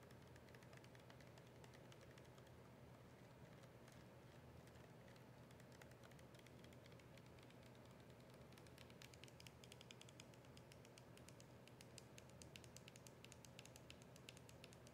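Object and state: Plastic soda bottle.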